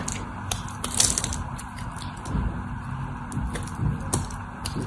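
A cream-colored solid bar of soap, held in both hands, is scored with the tip of a craft knife blade in repeated short cutting strokes. Each stroke gives a crisp, bright crackling scrape over a steady low rumble, and the strokes come in quick, uneven bursts.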